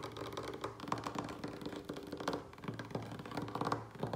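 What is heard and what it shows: A large, solid, light wooden tabletop is tapped fast, close up, with the fingertips and short nails of both hands; nearby succulents on orange tissue paper are not touched. The result is a quick, uneven run of dry, hollow knocks with a low wooden thump around 113 Hz, a brief clicky nail edge and almost no ring after each hit.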